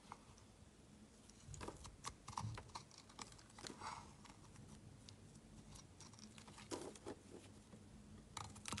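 A metal knife blade shaves thin slices off a solid, rectangular, translucent yellow glycerin soap bar held in the hand. Quiet, crisp scraping and short clicky cuts come in irregular bursts over a low, steady hum, each stroke fading almost instantly.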